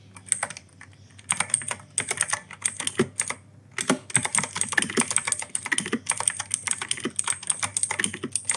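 A mechanical keyboard, an E-Yooso K-620 with plastic keycaps and clicky Outemu Blue switches, is typed on steadily with fingertips. Bursts of sharp, bright clicks come in quick runs separated by short pauses, and each keystroke dies away almost instantly.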